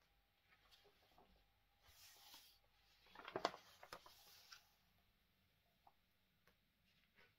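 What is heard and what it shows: A large open glossy paper magazine, thin and flexible, lies flat on a wooden table while fingertips and long manicured nails rub, scratch and smooth across its pages, with occasional page turning. Quiet soft rustling and scratching swell into a louder burst of crisp, bright paper crackles in the middle, then fade back to faint scratches and light taps.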